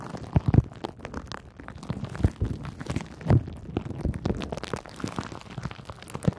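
Bunched clear pink plastic bubble wrap is squeezed and crinkled by fingers with long nails. The result is a steady, dense run of soft crackles and muffled low pressing sounds, with a few louder sharp crunches standing out along the way.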